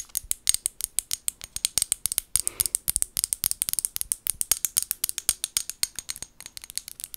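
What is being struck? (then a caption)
Small glass bottle with plastic lid. Long gold nails tap and scratch a small amber glass bottle with a white plastic lid held close to the mic. About fifty quick, bright, dry clicks come in a steady run, with a brief scratching rasp early on. There is almost no low end and each tap dies away at once.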